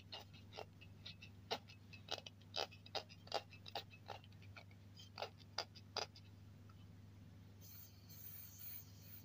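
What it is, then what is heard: Aluminium spray can. Fingertips and nails tap and scratch the body of a hollow silver aluminium aerosol deodorant can with a black and white cap, lying on a cloth. Quiet, short, bright metallic ticks come in an uneven string over a steady low hum. Near the end they give way to a soft, high scratching rustle.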